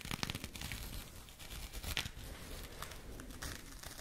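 A small jute burlap bag is scratched and rubbed with fingernails close to the mic. The result is a dense, crackly, papery scraping with bright rasping bursts over a low rumble. No separate hits stand out; it stays a continuous texture.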